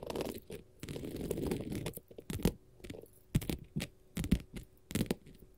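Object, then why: Glitter faux leather sheet. A flat, solid blue glitter faux leather sheet is scratched and tapped with long gold metal nail caps worn as finger jewelry. Stretches of dry, rustling scratching alternate with sharp, short taps that land singly and in quick clusters. The sound is soft and low-weighted, with crisp transient clicks on top.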